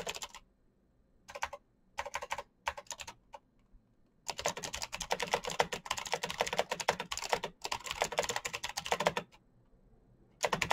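A black plastic mechanical keyboard with a backlight is typed on quickly with the fingertips of both hands. Short bursts of sharp, bright key clicks come with brief pauses, then settle into long, dense runs of rapid clacking with almost no ring after each keystroke.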